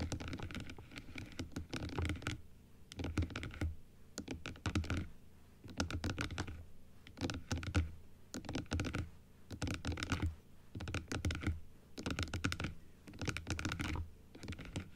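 Long acrylic nails tap along the arch of a large plastic dental teeth model that stands open upright. Quick bursts of dry, clicky taps come in clusters with brief pauses between them. Each tap has a dull low thump and dies away almost at once.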